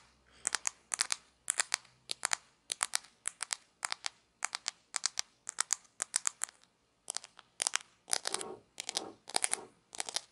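A few small, thin, solid grey plastic play coins from a toy pizza set are held in both hands and rubbed and clicked together with fingertips and long nails. Bright, dry clicks come in quick little clusters with no ringing, broken by a short pause. Near the end, softer scraping rubs blend in between the clicks.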